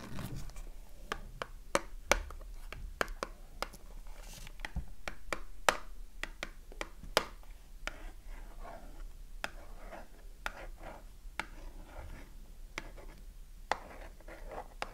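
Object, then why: Cardboard soap box with bar inside. Long nails tap and scratch the flat printed front of a small cardboard Dove soap box, held in the hand with the bar still inside. Sharp, dry clicking taps stand out over a soft, steady scratching rustle, each tap dying away almost instantly.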